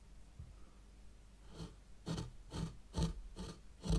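A white plastic rake handle, held by long-nailed fingers, is pulled through fine sand in a small hexagonal zen garden tray. It makes a series of soft, gritty scraping strokes at a loose, uneven pace, each a brief broadband rasp with a low thud, over a quiet low background hum.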